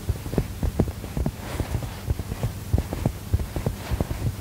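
Fingertips and short nails press, tap and scratch the front of a medium mustard-yellow cushion with a textured woven fabric cover, soft and filled, held against the chest. The result is a steady run of dull, low, muffled thumps that die away almost at once, with a faint scratchy rustle between them.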